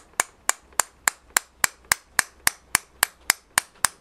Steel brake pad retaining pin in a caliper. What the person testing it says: started off hollow now it sounds solid